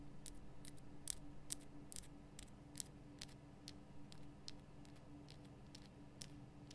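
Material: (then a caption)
Rock salt. Long painted nails tap rapidly on the rough sides of a large, lit pink Himalayan rock-salt lamp, a solid crystal block. The taps are quick, bright, dry clicks at an uneven pace over a steady low hum. Each tap dies away almost instantly.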